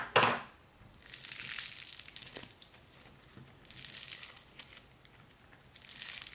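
A palm-sized lump of soft, solid orange foam modelling clay made of tiny polystyrene beads is held in both hands and squeezed, pulled and kneaded with the fingers. A sharp crackle opens the clip, followed by three swells of bright, dry crinkling and crunching with quiet pauses between them.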